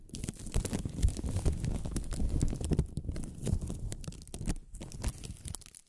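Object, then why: Thin plastic film ribbon. A strip of pink, thin plastic film ribbon tape is stretched between the hands and crinkled with long-nailed fingers. It makes a dense, continuous crinkling full of quick crackles and sharp little snaps over a deep, muffled rumble, swelling and easing for about six seconds.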